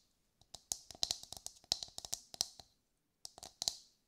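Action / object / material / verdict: tap / whole husked coconut / coconut shell / none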